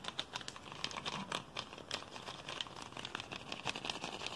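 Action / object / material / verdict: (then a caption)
scrape / plastic soda bottle / PET plastic / none. Fingers grip, crinkle and scratch near the cap of an empty, hollow clear PET Pepsi bottle with a blue label and cap. Rapid, dense crackles and sharp clicks of flexing plastic sound bright and thin, with almost no low end. Each snap dies away almost instantly, and the scratching and crinkling keep up at a quiet, steady level throughout.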